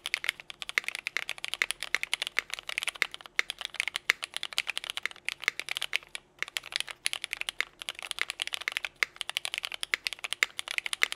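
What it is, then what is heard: Mechanical keyboard with plastic keycaps. Both hands type quickly with their fingertips on a compact 60% Nika S mechanical keyboard with a teal Tiffany case, Cherry Vintage Black switches, and white and pink ABS GMK KA2017 keycaps. The result is a fast, steady stream of bright, dry plastic clacks with no low thump and no ring, pausing briefly about midway.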